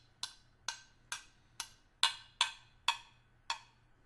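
A small, hollow stainless steel hip flask, held upright with its fill level not visible, is tapped with the tip of a small screwdriver. Nine bright, sharp metallic ticks are heard at a loose, uneven pace, the last one softer. Each has a high ping near 3.5 kHz that dies away almost at once.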